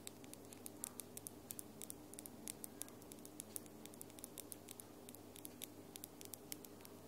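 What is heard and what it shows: Long almond-shaped acrylic nails with lilac glitter polish tap against the nails of the other hand, close to the microphone without touching it. Dozens of sharp, bright, dry clicks come in an irregular, fairly steady rhythm, each dying away almost instantly, over a faint low hum.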